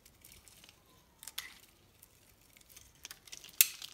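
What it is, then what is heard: Bar soap being scraped with a knife. A hand-sized solid pink bar of soap is held in one hand and carved with a metal knife blade that scrapes and shaves off thin curls of soap. Quiet, bright, crisp scraping and shaving sounds come in several short, sharp cuts, with the loudest slice near the end.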